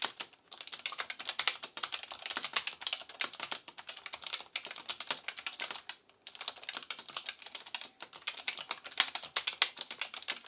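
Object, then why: Plastic mechanical keyboard. Both hands type continuously with the fingertips on an Asus ROG Claymore II full-size gaming keyboard with plastic keycaps, a metal plate and clicky RX Blue switches. The result is a rapid, steady stream of sharp, bright clicks with almost no low end and no ring, broken only by brief pauses near the start and around the six-second mark.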